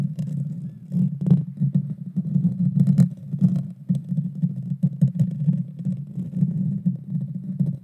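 Long dark fingernails of both hands scratch and tap the hollow metal mesh grille of a Blue Yeti Nano microphone. The result is a close, dense, low rumbling scrape with occasional sharp, bright taps cutting through.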